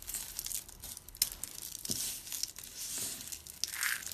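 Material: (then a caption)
Soap. Hands with dark green nails scoop, squeeze and rake through a pile of crushed dry orange soap shavings and flakes, small brittle pieces. The sound is a dry, bright crinkling crunch with quick crackles and a few sharper snaps, mostly high-pitched with almost no low end.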